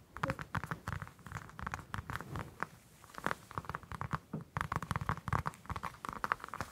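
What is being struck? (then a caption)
Whole orange, citrus peel. A whole orange held in one hand has its peel scratched and tapped with long acrylic nails. The result is a rapid, irregular stream of soft, dry clicks and rasping scratches centered in the midrange, each with a dull low thump and no ring. There is a brief quieter stretch near the middle before the tapping picks up again.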